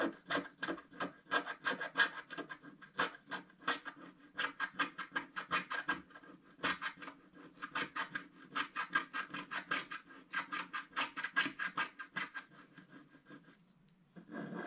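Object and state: Scratch art card being scraped.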